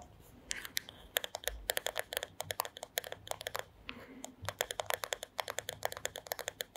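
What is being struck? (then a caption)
Wooden paddle hairbrush back. The back of a solid wooden paddle hairbrush resting on a rug is tapped with long acrylic nail tips. The result is a rapid, irregular run of short, crisp, bright clicks with almost no ring, coming in quick bursts separated by brief pauses over a quiet background.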